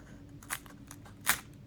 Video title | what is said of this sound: Is Divella Pizza Flour Italy's Best Kept Secret? | How crispy is that? That sounds absolutely fantastic.